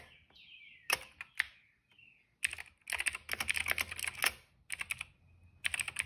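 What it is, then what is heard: Plastic mechanical keyboard. Fingertips press and tap the keys of a cream plastic mechanical keyboard, including the shift and space keys. Bright, crisp clicks come in short isolated taps and then in quick, dense bursts of typing. A faint, thin, slightly falling tone hums underneath between the bursts.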